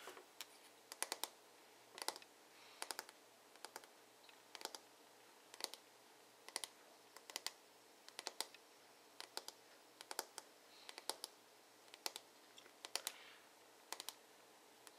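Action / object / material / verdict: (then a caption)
tap / plastic paddle hairbrush back / plastic / none. Fingertips and nails tap the smooth, glossy dark blue plastic back of a paddle hairbrush with a hollow shell. Quiet, sharp, bright clicks come in quick clusters of two to four, spread unevenly across the clip. Each tap dies away almost instantly, with no low-end body.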